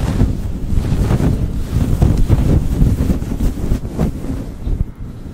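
A fluffy grey synthetic-fur windscreen on a rhinestone-decorated USB microphone is rubbed and scratched with the fingertips and short nails of both hands. This makes a dense, continuous, low, muffled rumbling and scratching with almost no high end, easing slightly toward the end.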